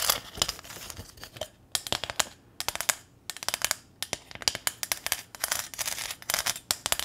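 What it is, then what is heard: Corrugated metal sign scratched and tapped. Long nails scratch and tap across the ridges of a small, flat corrugated metal welcome sign with a ribbon bow, held close to the mic. The result is a rapid run of crisp, bright clicks and short rasping scrapes with almost no low end, broken up by brief quiet gaps.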